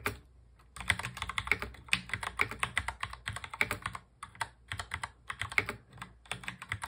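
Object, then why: Plastic mechanical keyboard. Fingertips of both hands type rapidly on a full-size black mechanical keyboard with plastic keycaps and a hollow plastic case. After a brief quiet start, a dense, uneven stream of sharp, bright clacks follows, each one dying away almost instantly. A few keystrokes land harder than the rest.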